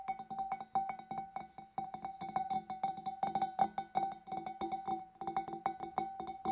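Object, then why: Glass fish bowl. Long nails tap rapidly on the neck and rim of a large, empty, hollow clear glass fish bowl, some taps coming from inside the opening. Each tap is a short, bright click over a steady glassy tone near 785 Hz that dies away almost at once, so the taps run together as a quick, uneven rattle.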